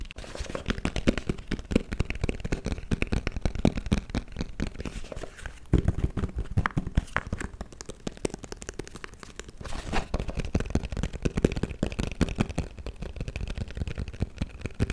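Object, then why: Corrugated cardboard box. A small, hollow brown corrugated cardboard box with a shipping label is held in the hands and tapped and scratched fast with fingernails. The result is a dense, continuous stream of quick, dull, hollow taps, mostly low in tone with a light scratchy edge. The rhythm surges in bursts, with brief dips around six and ten seconds.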